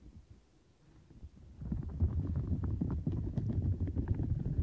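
Long nails scratch the bumps and bristled edges of a turquoise silicone bristle mat. A faint, quiet low rustle builds around 1.6 seconds into a steady run of dense, muffled, low scratching strokes with soft ticks on top.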